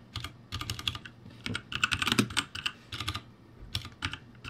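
Fingertips type rapidly on the letter rows of a backlit ROCCAT G65 mechanical keyboard with plastic keycaps. Quick bursts of sharp, bright clacks come in uneven clusters over a soft low thud, with each keystroke dying away almost instantly.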